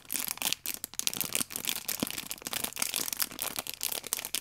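Long painted nails and fingertips rub and squeeze the clear plastic film on a small rectangular multipack of orange paper baking powder sachets with a red tear strip, held in both hands. The film gives off a steady stream of bright, dense crinkling with many quick crackles and almost no low end.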